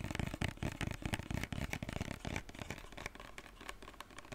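Fingertips and nails tap and scratch a white plastic lotion bottle with a pump cap. Quick, dry, hollow taps with a low thud come in a dense stream, mixed with scratchy rustling. After about halfway it settles into quieter, steadier scratching.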